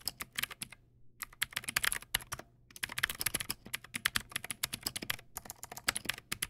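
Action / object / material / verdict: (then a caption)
tap / plastic mechanical keyboard keys / plastic / none. Fingertips type on a Teamwolf Zhuque+ X08, a backlit plastic mechanical keyboard with white plastic keycaps and clicky blue switches. The result is rapid, bright, crisp clicks in steady bursts with two short pauses. Each click is sharp and stops almost instantly, with very little low end.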